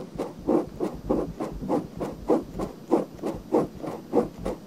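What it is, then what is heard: Silicone binaural microphone ear being scratched. Fingernails scratch the rim and canal of a pale pink silicone binaural microphone ear, making about 12 soft, rhythmic rubbing strokes at a fairly steady pace. Each stroke is a short, muffled scratch centered in the low-mid range, with little bass and almost no high content.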